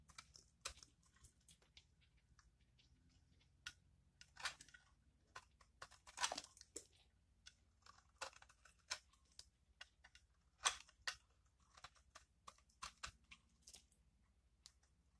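A metal blade shaves and scrapes thin curls off the face of a solid, palm-sized oval bar of purple soap held in one hand, with a pile of shavings below. Quiet, irregular, dry crunching scrapes sound, each short and bright with almost no ring, over a faint low hum.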